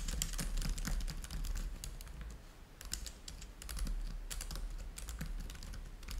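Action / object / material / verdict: tap / plastic laptop keyboard / plastic / none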